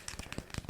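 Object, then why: Chalkboard surface. Fingers lightly tap on a chalkboard in a rapid series of soft taps. Each tap is a short, dull thud with a brief crisp click on top and almost no ring.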